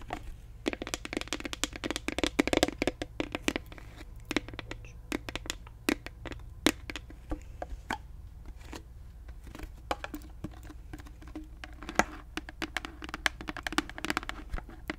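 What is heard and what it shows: Long nails tap rapidly and irregularly on the cap and body of a large, clear plastic Listerine mouthwash bottle full of liquid. The result is a dense stream of sharp, dry clicks and crinkly ticks that die away instantly, with bright edges, a faint hollow body near 300 Hz, and a steady low hum underneath.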